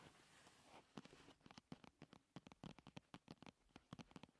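A slim paperboard primer box is held and rolled on a table while long nails tap and scratch the hollow cardboard cosmetic box. An opening stretch of soft, broad scratching gives way to a rapid series of short, dry taps with no ring.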